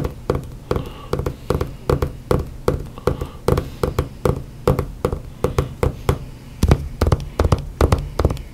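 Hands tap and knock on books in a quick, uneven rhythm, about three dozen short hits. Each hit is a dull, low thud with a brief papery click on top and almost no ring. No voice is heard between the hits.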